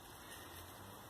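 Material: Nothing is struck.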